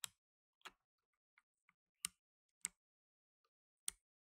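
Blue nitrile-gloved fingertips press the plastic keycaps of a black tenkeyless mechanical keyboard, producing five sharp, bright key clicks at an irregular pace. Fainter, softer ticks fall between them, and each click stops almost instantly against near silence.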